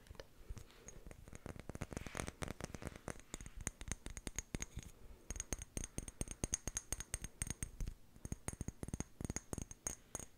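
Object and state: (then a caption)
Small glass jar tapped with fingernails. Long painted nails tap rapidly on the body of a small, hollow amber-brown glass jar with a white plastic lid, held up in the air. The clip is a dense run of short, sharp clicks, each with a high, bright glassy ring that dies away almost instantly.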